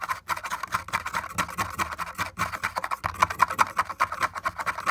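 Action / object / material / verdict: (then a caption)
tap / wooden board / wood / none. An index fingertip and nail tap rapidly on a cracked, broken wooden panel with splinters. The taps make a fast stream of dry, clicky knocks, each dying away almost at once. The tone centers around 1 kHz with little low end.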